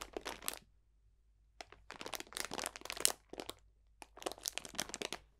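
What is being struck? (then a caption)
Cellophane bag of dried botanicals. A clear cellophane bag full of dried potpourri botanicals is squeezed and crunched with both hands. Bright, dry crinkling and crackling comes in several quick bursts separated by short silences, with no ring after each crunch.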